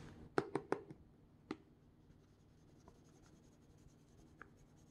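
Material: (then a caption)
Plastic. Hard black plastic claw tips tap and scratch the surface of a small semi-transparent plastic retail pouch holding a phone case. Five sharp, dry clicks land in the first second and a half, followed by faint scattered ticks and light scratching over a quiet background.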